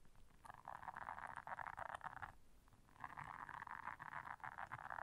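Long nails scratch and press the bristles of a blue silicone bristle scrubber pad. Two stretches of dense, rasping scratching sit in the midrange around 900 Hz, separated by a brief quieter pause.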